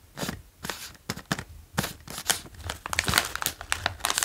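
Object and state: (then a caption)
Plastic chip bag being crinkled and tapped. A full, medium-sized green plastic bag of OLW Dill & Gräslök potato chips is held in both hands and tapped and traced with the fingertips. It gives off bright, crisp crinkling and crackling in quick bursts, with sharp taps scattered through.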